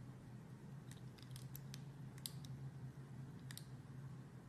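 A palm-sized, solid heart-shaped red glycerin soap with white dots, held in long red-nailed fingers, has its edge scraped and sliced with a metal utility blade. Quiet, crisp, bright little scrapes and clicks come in short bursts over a steady low hum.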